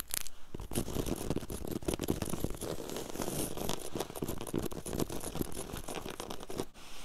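Very long yellow acrylic nails scratch fast back and forth across a flat, solid, low-pile woven grey carpet on the floor. The result is a dense, continuous, rapid scratchy rasping with steady loudness, dipping briefly near the end.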